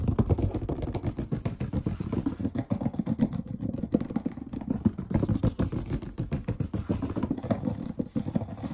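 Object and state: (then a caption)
Wood-grain tabletop. Short-nailed fingertips of both hands drum and tap rapidly on the surface of a large, solid, brown wood-grain table. The result is a dense, continuous patter of dull, low knocks with a warm body and little brightness. Each tap dies almost instantly.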